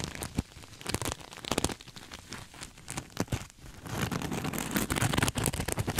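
A soft, stuffed cream sequin throw pillow is hugged against the microphone and scratched and rubbed with fingertips and nails. Crinkly, dry rustling and scratchy clicks come in irregular bursts, turning denser and fuller in the second half.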